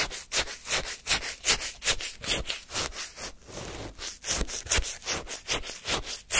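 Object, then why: Frozen lemon shaved-ice sorbet in a paper cup, scraped with a wooden spoon. A flat wooden spoon scrapes and scoops pale, granular lemon shaved-ice sorbet in a paper cup. Quick, repeated bright crunchy scrapes come in a steady back-and-forth rhythm, with a brief softer hiss near the middle.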